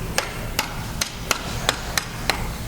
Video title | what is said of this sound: Dino Dig Recap Day 8 & 9: How fast WAS T-Rex? Our last day on the dig and MUCH more. | we did the little knock test between dirt and Bone listen how close it sounds